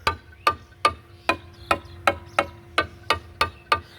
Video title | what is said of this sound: 🏡প্রিকাস্ট ওয়ালের শব্দ পরীক্ষা। #precastwall #riarconcrete | এটা বেশ কিছুদিন থেকে আছে বেশ শক্ত হয়ে গেছে এবং বয়স হয়ে গেছে। এ শব্দটা অনেকটাই ধাতব শব্দ।